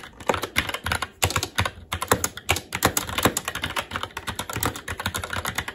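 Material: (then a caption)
Plastic. Fingertips of both hands type steadily on a SteelSeries Apex 7 TKL mechanical keyboard with red linear switches, plastic keycaps and a metal top plate. The result is a dense stream of quick, sharp clicks and clacks with short, bright attacks and a low thud beneath as keys bottom out.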